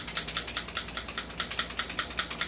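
A stock airsoft rifle is shaken, and its loose outer barrel rattles in a quick series of sharp, bright clicks with almost no low end. Each click dies away almost at once, showing the outer barrel is not fixed in place.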